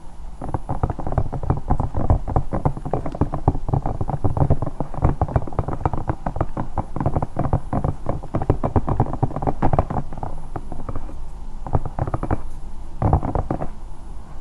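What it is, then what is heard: Silicone night lamp. Long nails tap and scratch rapidly across the surface of a hollow, bear-shaped silicone night lamp. The result is a dense, continuous stream of soft, muffled, low thuds with a faint scratchy texture, each tap dying away almost instantly. The stream pauses briefly near the end.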